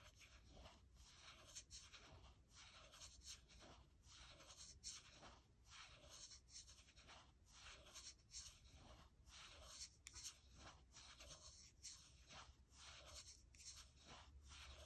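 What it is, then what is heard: Aluminium laptop palm rest. Long nails slowly scratch and rub the aluminium palm rest beside the trackpad of a gold MacBook Air. The result is a quiet, steady run of soft, hissy, high-pitched scratching strokes over a faint low hum.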